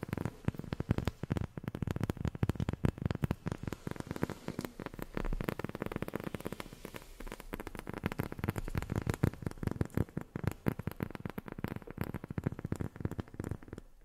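Long fingernails tap rapidly and continuously on a rubber sheet for about fourteen seconds. Each tap is a short, dull, muffled thud with almost no ring, with the sound weighted low and carrying little brightness.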